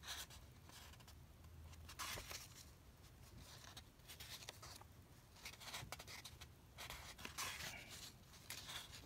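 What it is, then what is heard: Paper comic book pages. Fingertips rub over the pages of an open vintage paper comic book and flip them. Soft, bright papery rustling and scraping run throughout, with a faint low hum underneath. Brief louder swishes of pages turning stand out along the way.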